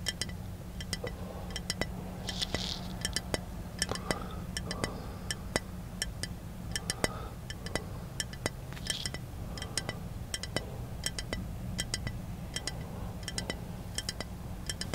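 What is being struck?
Small glass bottle with liquid.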